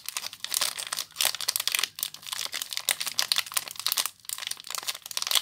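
Fingertips and long nails squeeze and scratch the crinkly clear plastic wrapped around a small solid soap bar. The result is a dense, bright crackling and crinkling with almost no low end, coming in bursts separated by brief pauses.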